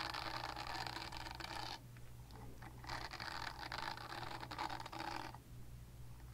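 Long nails scratch across a purple silicone body scrubber with bristles, making a dense, bristly scraping with a bright edge. The scratching comes in bursts, briefly quieter around the two-second mark and near the end, over a steady low hum.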